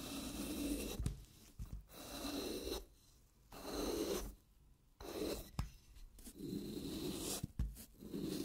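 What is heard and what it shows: A wooden-handled carving knife scrapes and shaves thin layers from the face of a handheld block of wet green floral foam. Repeated soft, gritty rasping strokes are separated by quiet pauses, with a few brief sharp clicks between them.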